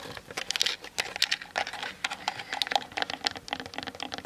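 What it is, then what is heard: Plastic camera body. Long nails tap quickly on the sides and top of a Canon DSLR with a plastic body. The result is a rapid, uneven run of short, dry clicks with a bright, high edge and almost no low end. Each tap dies away at once.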